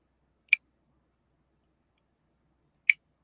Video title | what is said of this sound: Blade Runner Score | the lockup sounds There it is. Yeah, that's solid.